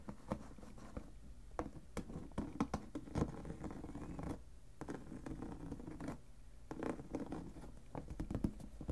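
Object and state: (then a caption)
Clear plastic storage box. Fingertips and nails tap and scratch the side walls and lid edges of a clear plastic lidded box filled with paper ephemera. The result is a steady patter of short, dry taps mixed with scratchy rustling. The sound is mostly low and mid-range, with little ring after each tap.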